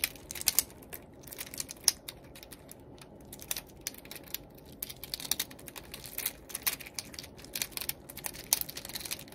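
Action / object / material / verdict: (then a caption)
flick / plastic fidget cube / plastic / none. Fingertips click and flick the buttons and switches on a small, yellow, translucent plastic fidget cube, a solid palm-sized toy held in both hands. The result is a quiet, irregular stream of sharp, bright, dry clicks that stop instantly with no ring, some louder snaps standing out above soft rustling between them.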